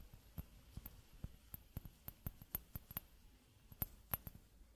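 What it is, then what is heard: Glass hourglass tapped. Fingertips in a fingerless glove tap repeatedly on the bulb of a clear, hollow glass hourglass whose top bulb is mostly empty. Each tap is a short, sharp tick with a thin high glassy ring that fades almost at once, over a quiet low background hum.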